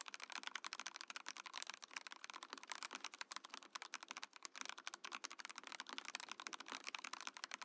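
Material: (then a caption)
Plastic. Fingertips type quickly on a compact Mojo68 mechanical keyboard with a translucent plastic case and plastic keycaps. The result is a steady stream of crisp, bright, clacky keystrokes with very short decay and almost no low end.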